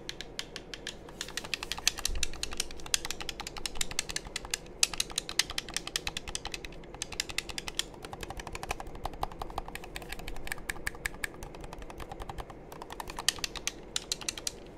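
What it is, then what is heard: Plastic game controller buttons. Fingertips rapidly tap and click the buttons of a hollow black plastic game controller held close to the mic. The result is a dense run of short, dry, bright clicks with brief pauses, over a faint low rumble.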